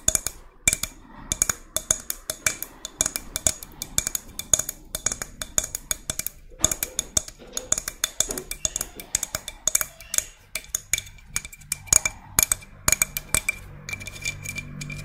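A hand-sized white-brown spiny spiral seashell, hollow and held in both hands, is tapped and scratched along its spines and surface by long red nails. Many quick, sharp, bright clicks follow one another in an irregular stream, each stopping almost at once, with faint scratchy rustling between them.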